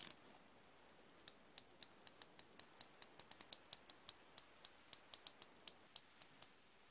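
A hand-sized, solid chrome-plated steel combination wrench with a flex-head ratchet end is held in one hand while the fingertips turn and flex the ratchet head. After a brief opening burst, this produces a long string of separate, crisp, bright pawl clicks. Each click is very short and dry against a quiet background, with almost no low end.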